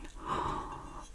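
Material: Nothing is struck.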